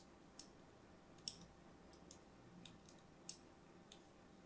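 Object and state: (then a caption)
Soap bar being scored with a blade. A thin metal blade scores crosshatch lines into the surface of an orange and white striped solid soap bar held in a hand. Soft, bright, crisp clicks and scrapes come at irregular intervals over a quiet, low hiss, with three sharper ticks standing out.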